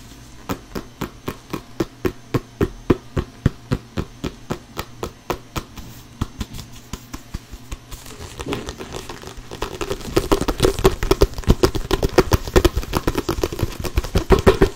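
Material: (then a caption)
Synthetic leather. An inflated hollow soccer ball with a synthetic leather cover, held at chest height, is slapped with an open palm and tapped with the fingers. Steady, evenly spaced dull thuds with almost no ring come first. From about eight seconds they give way to faster, denser and louder drumming that runs to the end.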